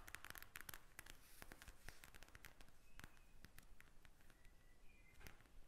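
Long nails tap and scratch a pink plastic eye mask filled with gel beads lying flat, making quick, sharp, crackly clicks. The taps are quiet and dry and die away almost instantly, with a few faint scraping tones near 2 kHz between them.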